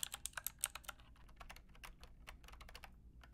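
A white and pink Lofree mechanical keyboard with a hollow body and round plastic typewriter-style keycaps is typed on with long painted nails and fingertips. Bright, clicky taps start loud and spaced, then settle into quicker, softer typing. Each tap dies away almost instantly.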